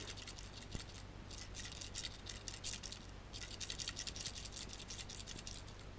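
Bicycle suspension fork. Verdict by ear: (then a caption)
Loose. A removed bicycle suspension fork is shaken by hand, and something loose rattles inside the fork blades as a rapid, dense run of light, bright ticks over a steady low hum. The fork has no holes for the debris to get out, and the rattle is a fault.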